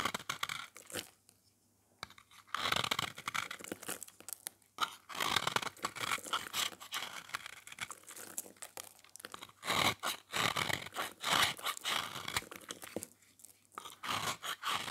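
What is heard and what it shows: A metal utility-knife blade scrapes and shaves a small, round, solid, beige dry soap bar painted silver and red, held in the hand, peeling off crunchy flakes. Dense, bright, crisp scraping and crunching strokes run almost continuously, with a brief silent pause early on.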